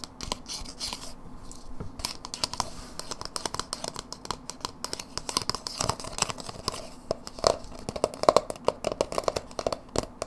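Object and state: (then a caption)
Plastic dip tub. Long nails tap and scratch the sides and rim of a small, empty white plastic dip tub, hollow and open and held in the hands. It makes a fast, dense run of light, dry clicks and crinkly scratching with a hollow plastic tone near 640 Hz, and each tap dies away almost instantly. Brief bright scraping flurries are mixed in.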